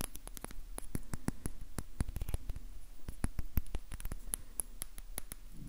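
A small glass bottle with a label and a blue-white plastic cap, held in the fingers, is tapped quickly with the fingertips and nails. The result is a fast, uneven run of short, sharp clicks that die away almost instantly over a faint low background hum.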